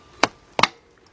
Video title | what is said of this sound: ⭐ 2004 Hyundai Elantra - 2.0 - Automatic - Left Drive Axle | when you hit that dull sound you know you got it